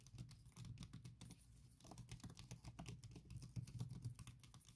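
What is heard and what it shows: Long nails tap fast across a thin printed silicone keyboard cover on MacBook Pro laptop keys. The result is a dense, irregular run of soft, dry clicks with a muffled low thump and almost no ring, with brief quieter gaps between bursts.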